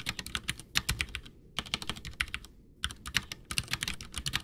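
Both hands type with their fingertips on a full-size white plastic Ducky One 2 mechanical keyboard with Cherry MX Brown switches, backlit and with a hollow case, resting on a desk. Quick runs of bright, short clacking keystrokes are heard, with a dull low thump under each press. The typing stops briefly twice before resuming.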